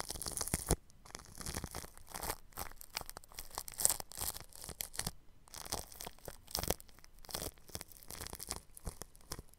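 A bristle paintbrush brushes across clear plastic cling film stretched over a round microphone's grille. The result is a steady run of close, scratchy, crinkling swishes with bright hiss and soft low thumps, rising and falling in irregular strokes with brief quiet gaps.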